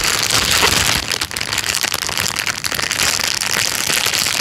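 A thin, clear plastic bag lying flat on a couch is pressed, tapped and rubbed with the fingertips. This makes a steady, dense, bright crinkling and rustling with little low end, dipping briefly in loudness before the crackle continues.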